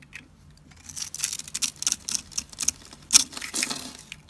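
A metal blade scrapes across a dry, solid blue soap bar that is pre-scored into a grid and held in the hand, cutting off small cubes that fall away. Faint scraping builds into a quick series of crisp, bright crunches and clicks, with one sharper crunch near the end before it trails off into light scraping.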